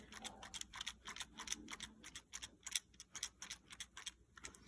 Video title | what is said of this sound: Cherry blue review | you can hear a sufficient amount of rattle from the actual clicker itself moving